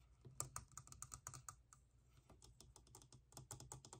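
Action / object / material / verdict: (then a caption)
tap / small hollow vinyl figure / vinyl / none. Fingernails rapidly tap and scratch the sides and rods of a small hollow vinyl hourglass figure held in one hand. The sharp, bright, clicky taps die away almost instantly over a steady low hum. They come in a dense burst, ease off briefly in the middle, then pick up again.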